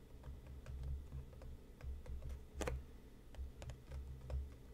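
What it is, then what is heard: Cardboard tea box. Fingertips tap and lightly scratch the sides of a printed, medium-sized, hollow cardboard tea box resting on a cutting mat. Soft, low, hollow thumps come at an uneven pace, with faint, brief clicks and scratchy ticks between them.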